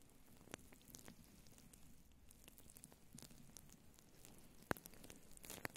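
Long blue nails scratch and rub a grey-white faux fur windscreen on a microphone with both hands. The result is a quiet, continuous soft rustling and scratching with low rumble, broken by a few sharp, bright clicks near the end.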